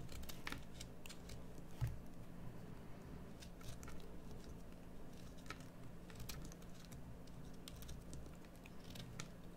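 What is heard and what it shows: A metal carving knife cuts into a solid green bar of soap, making a series of short, crisp scraping and shaving sounds with brief bright crackles. The cuts sit quietly over a steady low hum, with one slightly louder stroke near the start.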